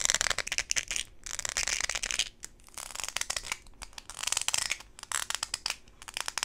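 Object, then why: Rubber flip-flop sandal with studs. Long pink acrylic nails scratch and tap a hand-held blue rubber/plastic flip-flop sandal with gold studs and a solid, flexible sole. The result is a dense run of crisp, bright scratching bursts and quick taps, almost entirely in the high frequencies, with brief pauses between flurries.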